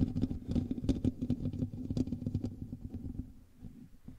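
Fingertips and nails of both hands scratch the hollow metal mesh grille of a black USB microphone. The result is a dense, irregular run of close, boomy scraping and tapping, heavy in the low end with a steady tone around 258 Hz. The scratching is loudest at the start and gradually softens toward the end.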